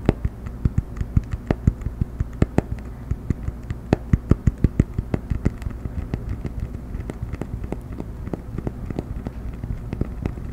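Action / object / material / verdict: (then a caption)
tap / cork coaster / cork / none. A round cork coaster, held edge-up close to the microphone, is tapped quickly with fingertips and nails. Rapid, short, dry taps land in uneven bursts, each dying almost instantly, over a steady low rumble. The taps are sharper and denser in the first half and softer toward the end.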